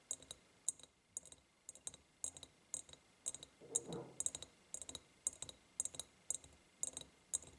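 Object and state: Glass jar tapped with fingernails.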